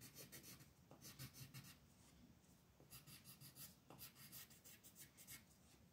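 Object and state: Colored pencil on a paper sheet.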